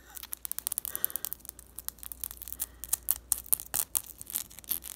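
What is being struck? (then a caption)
Small glass bottle with plastic cap. Long fingernails rapidly tap and scratch a small glass essential oil vial with a black plastic cap, held between the fingers, striking both the cap and the labeled glass. The result is a quick, irregular stream of sharp, bright clicks and faint scrapes, concentrated in the high frequencies with almost no ring after each tap.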